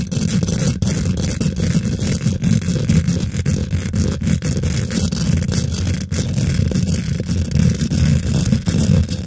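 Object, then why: Metal mesh microphone grille. Long nails and fingertips on both hands quickly scratch and tap the domed, hollow woven metal mesh grille of a large silver condenser microphone. The result is a dense, continuous, close-up scraping and rustling texture, heavy in low, boomy rumble with a faint bright hiss above. The level stays steady throughout with no clear pauses.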